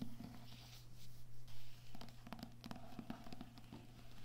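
Fingertips with medium nails tap and scratch the glossy card cover of a medium, solid-paper paperback poetry book lying flat on a table. Soft, irregular taps and brief scratchy brushes sit over a steady low hum.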